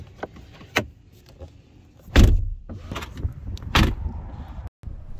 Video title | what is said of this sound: BMW iX M60 619 hp 1015 Nm TEST M jak Marketing czyli Motobóbr z Marsa [4k] | to co mi się nie podoba to dźwięk zamykania drzwi Posłuchajcie tego No strasznie kłapią jak w jakimś tarpanie